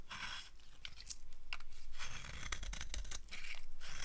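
A green-handled blade carves shavings off the surface of a solid, dry green soap bar held in the hand. The strokes make dry, crisp scraping and crackling sounds in a steady series of short bright bursts over a low rumble.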